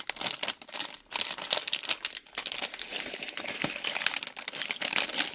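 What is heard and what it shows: Hands crinkle, turn and shake a small printed plastic-film Lego Friends polybag with bricks inside. The result is a dense, continuous stream of bright, crisp crinkling and rustling with quick, sharp snaps and almost no low end. Brief quieter pauses fall near the one- and two-second marks.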